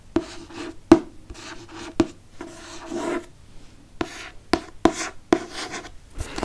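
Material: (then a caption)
Cardboard. Fingertips trace and rub across the glossy board front cover of a Harry Potter and the Chamber of Secrets hardcover book held upright. Soft, dry rubbing and scratching strokes run throughout, punctuated by nine short, sharp taps with a hollow low-mid tone around 330 Hz that die away almost instantly.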